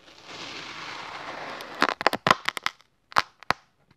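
A yellow plastic spatula blade slices repeatedly through a solid cylinder of orange kinetic sand resting on a red surface. A soft, steady crumbly scraping hiss builds for almost two seconds, then gives way to about nine sharp, dry crackling snaps with bright grit and almost no ring.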